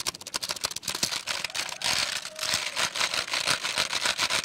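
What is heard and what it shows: Fingertips rapidly tap the plastic keys of a full-size black plastic computer keyboard with a hollow case, held close. The result is a fast, bright, dry clatter of sharp clicks with almost no low end, sometimes spaced and sometimes running together into a continuous rattle.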